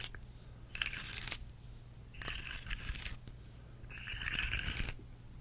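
A rainbow segmented plastic slug fidget toy, curved and held up in both hands, is tapped and scratched along its segments with long nails. Three bursts of crisp, bright, crinkly scratching and clicking rise over a steady low hum, with quiet gaps between them.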